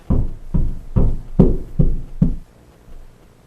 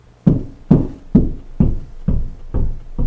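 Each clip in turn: First: Six low, short thuds from knocking drywall; the wall is solid over a stud here. Second: Seven low, deep thumps with a soft boom: hollow drywall with no stud behind it.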